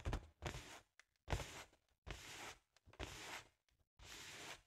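Long nails tap and scratch the sides of a large, hollow, inflated balloon with a holographic foil pattern. Each stroke gives a dull, low thump with a bright, hissy scrape, in bursts of about half a second separated by short silences.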